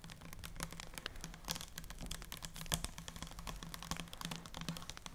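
A full, clear plastic micellar water cleanser bottle, about 400 ml with an orange cap and orange-tinted liquid, is held in both hands and tapped with long dark-painted nails. Rapid, crisp, bright clicks patter like keyboard typing, each dying away almost instantly. A low steady hum runs underneath.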